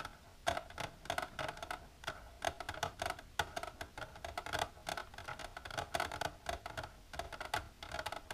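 Long natural nails with silver polish tap continuously on a plastic container in a quick, uneven run of light clicks. Each tap is short and dry with almost no ring, carrying a hollow mid tone near 840 Hz and a bright, thin edge over faint background noise.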